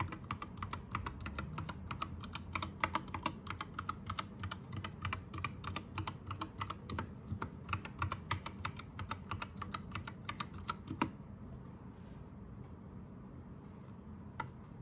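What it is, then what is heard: Plastic mechanical keyboard. An Anne Pro 2 60% mechanical keyboard with plastic keycaps and rainbow backlight is typed on by one hand, fingertips pressing the keys. Quick, irregular clicky keystrokes with a bright, short snap ride over a low background hum. The typing thins out and mostly stops after about 11 seconds, leaving a single late keypress near the end.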